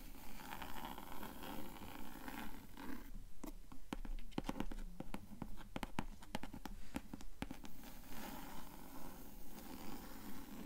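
Long nails tap and scratch the cloth-covered front board of a closed blue cloth-bound hardcover book with a yellow spine, lying flat on a table. Soft, low rustling scratches run throughout, broken in the middle by a cluster of short, sharp taps with bright clicky edges that die away almost instantly.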